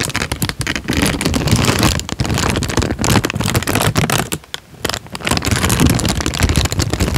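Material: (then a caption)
Paper. A thin tan paper sheet is folded and crinkled with the fingers, giving dense, continuous crackling with sharp bright snaps over a low rustle. The sound runs steadily for about seven seconds, with brief quiet dips near two seconds and again around four and a half seconds.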